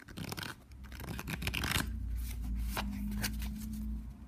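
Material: Cardboard.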